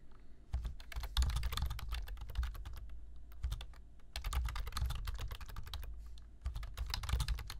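Fingertips type rapidly on a black plastic computer keyboard, producing bursts of bright, crisp key taps. Brief pauses fall between the bursts, and a steady low hum sits underneath throughout.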